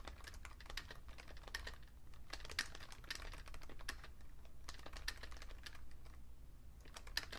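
Fingertips type fast on a vintage beige plastic Fujitsu Siemens computer keyboard, with a magazine lying still beside it. A dense run of short, bright, crisp key clicks plays over a steady low hum, with a few sharper taps standing out.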